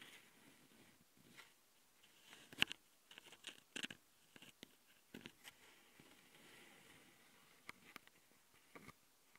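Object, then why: Plastic handheld audio recorder with metal-mesh mic grille. Long glitter nails scratch across the top and metal-mesh mic capsules of a small plastic Tascam handheld audio recorder, held in one hand. The quiet, bright scratching comes in uneven bursts, with about nine sharper scrapes and clicks that stop almost instantly, over a faint hiss with almost no low end.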